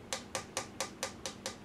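Seven quick fingertip taps on a plastic chute, each a bright click with a short mid tone near 530 Hz.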